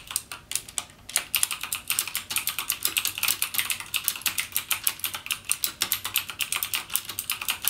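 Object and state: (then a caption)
Plastic mechanical keyboard. Fingertips type continuously on a backlit mechanical keyboard with plastic keycaps and Cherry MX Blue switches. The result is a rapid, steady stream of sharp, bright clicks with almost no low end and very short decay.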